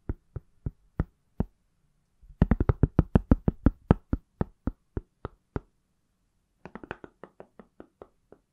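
An iPhone in a pale silicone or plastic case, palm-sized and solid, is tapped with fingertips and nails. Short, dull, low knocks with almost no ring come first in slow single taps, then a quicker, louder flurry, then lighter, sparser taps to the end.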